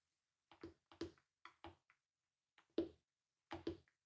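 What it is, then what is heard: Hollow plastic toy gauntlet. Long nude-painted acrylic nails tap a large hollow bronze-painted plastic Infinity Gauntlet toy with light-up gems, lying on white fur, with both hands resting on it. Twelve quiet, short, hollow plastic taps come in loose, uneven pairs, each with a low-mid body and a bright click, dying away almost at once.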